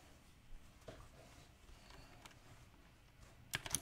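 Both hands type with their fingertips on a compact, backlit mechanical keyboard with round plastic typewriter keycaps. Sparse, bright, clicky key presses come at an irregular pace, then bunch into a quick, louder burst at the end.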